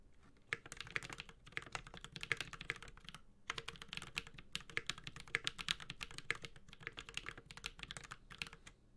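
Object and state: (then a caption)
Mechanical keyboard, aluminum case with plastic keycaps. A Space65 CyberVoyager 65% mechanical keyboard, with a white-gold aluminum case, plastic keycaps, a carbon fiber plate and Holy Panda tactile switches, is typed on steadily with the fingertips of both hands. The sound is a rapid run of short, bright, clacky keystrokes with a little low thock beneath. Each keystroke dies away almost instantly, and there is a brief pause about a third of the way through.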